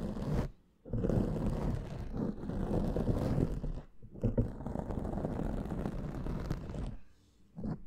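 A black foam microphone windscreen is scratched and rubbed with the fingertips and nails of both hands, producing a dense, muffled, low-heavy scraping and rustling. The sound runs in long continuous bursts, broken by brief near-silent pauses.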